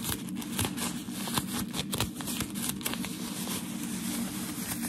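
A thin, crinkled sheet of white shoe packaging paper is held in the hands and rubbed and scratched with fingertips and nails. The result is a continuous, dense crinkling and rustling with sharp, bright crackles and scratchy snaps over a soft, steady low rumble.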